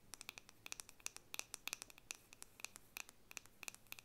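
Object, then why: Wooden paddle hairbrush back tapped with fingernails. Long painted fingernails scratch and tap the solid, flat back of a hand-sized wooden or bamboo paddle hairbrush held up in one hand. About two dozen quick, dry, clicky taps and scratches come in an uneven rhythm. They are bright and crisp with almost no ring, over a quiet background.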